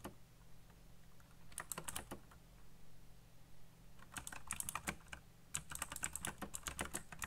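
Fingertips type fast on a backlit mechanical keyboard with black plastic keycaps, making quick bursts of sharp, bright clicking and clacking. The typing comes in three clusters separated by brief pauses, over a steady low hum.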